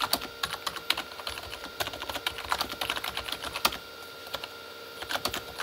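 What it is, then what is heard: Plastic keyboard being typed on. Both hands type with their fingertips on the plastic keys of a full-size Corsair K35 plastic mechanical keyboard with red backlighting. The result is a rapid, uneven run of short, bright plastic clacks with almost no low end; each keystroke dies away almost instantly. Brief pauses break up the typing over a faint steady tone.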